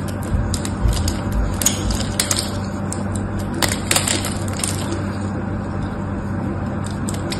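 A small metal knife scrapes and carves crumbly flakes from the end of a solid, dry pink soap bar held in one hand. Steady low rumble underneath, with irregular crisp, bright scraping bursts and crumbling crackles throughout.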